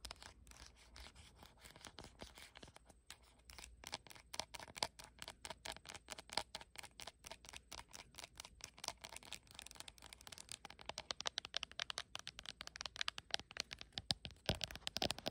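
Long acrylic nails rapidly tap and scratch the glass back panel of a blue iPhone with no case, held in the hand. The result is a dense stream of sharp, bright clicks with very short ring and light scratchy scraping between them. The tapping grows busier and louder toward the end.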